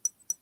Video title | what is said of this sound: Live Vintage Sale & Chat with Vintage Viking Treasures-Becky - Sept 10, 2022 @10pm edt (7pm pdt) | it's hollow so it sounds a little bit different